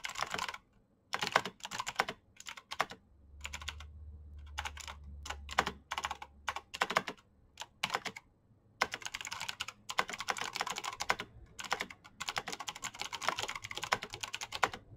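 Both hands type with their fingertips on a black plastic backlit mechanical keyboard with clicky switches. Fast bursts of crisp, bright clicks come in quick runs, separated by brief pauses. A faint low hum sits underneath during part of the middle.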